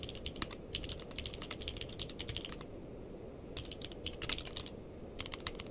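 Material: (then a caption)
Plastic. A purple-cased mechanical keyboard with plastic keycaps is typed on with the fingertips of both hands. Quick, bright, crisp clicks come in three bursts separated by brief pauses, over a steady low background hiss.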